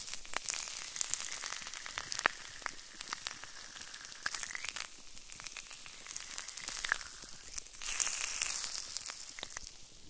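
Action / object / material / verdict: tap / plastic bubble wrap sheet / plastic / none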